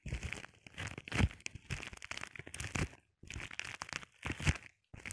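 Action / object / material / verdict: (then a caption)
scrape / plastic bubble wrap sheet / plastic / none. A flat sheet of clear plastic bubble wrap is scratched and tapped with the short painted nails of both hands. Bursts of dry crinkling and crackling scratches alternate with quick low taps, separated by brief pauses.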